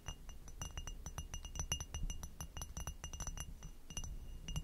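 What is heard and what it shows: Long nails tap and scratch around the foot and stem of an inverted, hollow, empty amber hobnail glass goblet, then move onto its bumpy bowl. Quick, bright glassy clinks with a short ring around 2.8 kHz and higher overtones sit over a low, steady rumble of scratching.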